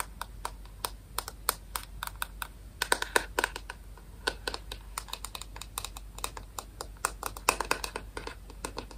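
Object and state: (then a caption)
Plastic paddle hairbrush tapped with nails. Long nails tap and scratch the white plastic back of a rectangular paddle hairbrush with a hollow shell. The result is a rapid, irregular run of sharp, bright clicks with a hollow plastic tone around 1 kHz. Each click dies away almost instantly over a faint, steady low hum.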